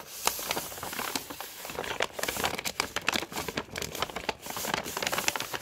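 A Body Shop kraft paper carrier bag lying on a carpet is pressed, rubbed and crinkled with a flat hand and nails. Dense, bright paper crinkling is heard, with many sharp crackling ticks over a continuous rustle that has very little low end, each tick stopping almost at once.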